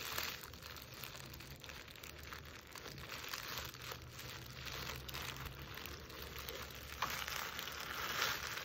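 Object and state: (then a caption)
Burlap stocking being scratched. Long nails scratch and trace over the toe of a jute burlap Christmas stocking with white lining, held in one hand. Over the coarse woven burlap this makes a steady, dry, crinkly rasping that is bright and fairly even in level, with a faint low hum underneath.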